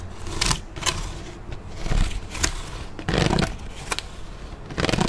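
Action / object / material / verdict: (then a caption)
tap / ridged plastic water bottle / plastic / none. An empty, hollow, large clear ridged PET water bottle is held up and handled by hand near the mic, tapped and scraped with the fingers. Bright plastic crackles and scratchy bursts rise over a steady low rumble.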